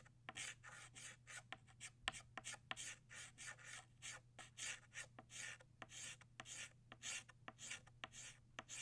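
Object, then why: Chalk stick on a chalkboard. An orange chalk stick shades back and forth across a flat black chalkboard, filling in a small circle. Quick, dry, bright scratching strokes come in short bursts, some beginning with a sharp tap. A faint steady low hum sits underneath.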